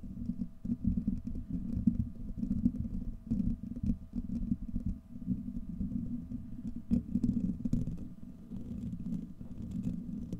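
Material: Steel mesh.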